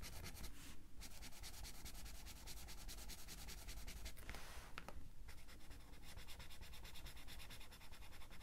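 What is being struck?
Felt-tip marker on paper coloring book page.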